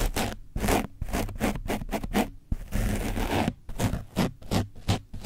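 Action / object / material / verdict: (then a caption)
scrape / painted foam microphone windscreen / foam / none. A foam brush is scratched across an orange foam microphone windscreen coated with dried paint, with a hand close to the microphone. Quick, rough scraping strokes come in a fast, uneven rhythm, with one longer continuous scrape midway. The sound is dry and broadband, with a low thumping body under a bright, hissy texture.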